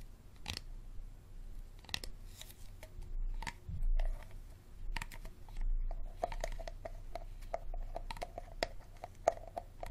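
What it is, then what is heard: Empty plastic water bottle. Fingertips and nails tap and scratch the sides and ridged bottom of a small, empty, hollow clear plastic Dasani water bottle with a label and green cap while turning it. The result is a quiet run of quick, crisp plastic taps and short scratchy rustles. In the second half the taps take on a hollow ring around 670 Hz over a soft low rumble.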